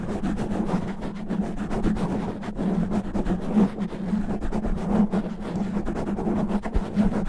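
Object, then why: Foam microphone windscreen. Both hands rapidly scratch a black foam windscreen over a microphone head with natural fingernails. The result is a continuous, dense, rough scraping rumble, heavy in the low end with a steady low tone near 190 Hz and almost no bright content. Small irregular bursts rise and fall throughout.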